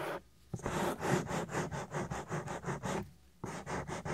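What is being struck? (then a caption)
Silicone ear of a binaural microphone. A flat hand and fingers rub across the whole soft, solid silicone ear of a 3Dio binaural microphone. The result is a close, muffled, rhythmic scrubbing in quick repeated strokes, low and dull with a slight bright hiss. It pauses briefly near the start and again before the final strokes.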